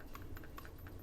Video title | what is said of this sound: Oknife Fortitude at the new Obuy store Discount and links below ! | you shake it hard enough you got a little bit of rattle in there but not much